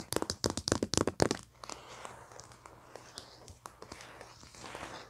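Long nails and fingertips tap and scratch the printed paper cover of a flat foil paper pad resting on carpet. A quick run of sharp, bright, crackly taps fills the first second and a half, then gives way to softer, scattered scratches and faint crinkles. Each tap stops almost instantly, with no ring.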